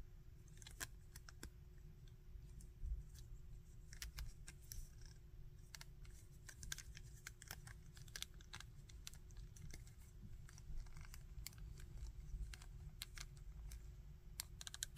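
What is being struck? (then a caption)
Small hard-plastic articulated action figure. A small hard-plastic articulated Bardock action figure is turned and handled with fingertips, its arm joints moved to make many sharp, brief, high plastic clicks. The clicks sit over a steady low rumble with a faint constant hum.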